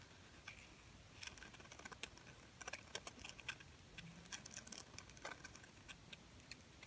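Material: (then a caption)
Plastic. A small silver glitter-coated plastic bird Christmas ornament is held and tapped and scratched with long painted nails. Quiet, crisp, bright clicks and short scratchy ticks come in irregular bursts, each dying away at once against a soft background hiss.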